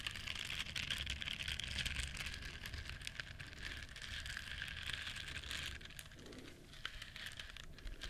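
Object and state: Silicone bristle scrubber.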